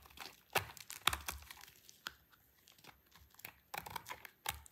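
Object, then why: Bar of soap scraped with a knife blade. A solid, rounded, dry orange soap bar, held in a hand with long purple nails, is scraped with a utility knife blade. Irregular crisp, crunchy scrapes and crackles come through with bright, dry edges and no ringing, separated by brief quiet gaps.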